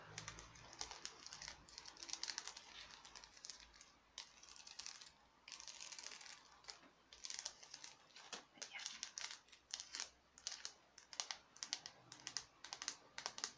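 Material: Hard plastic.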